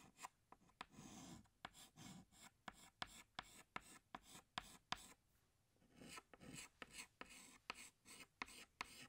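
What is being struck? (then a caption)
Chalk stick on a chalkboard. A hand scratches a green chalk stick across a large, flat black chalkboard while drawing leaves. Quiet, bright, raspy strokes are broken by about 15 sharp clicking taps as the chalk meets the board, with a brief pause in the middle before the drawing resumes.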